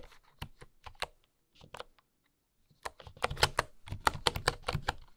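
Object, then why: Bamboo wooden computer keyboard. Fingertips with long nails type on a full-size bamboo wooden keyboard with wooden keycaps and a hollow housing. Slow, scattered key taps are broken by a near-silent pause, then a faster, louder burst follows, 15 short, dry clicks in all, each with a bright, hollow tap.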